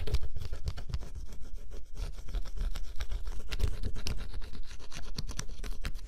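A thin stylus scratches the black coating off a flat cardboard scratch-off jigsaw puzzle, exposing blue underneath. Rapid, dry scratching strokes run continuously for about six seconds, each a short bright rasp over a low, heavy rumble.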